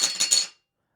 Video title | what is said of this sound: $1,000 Budget Computer Build for Customer | it sounds like metal right not plastic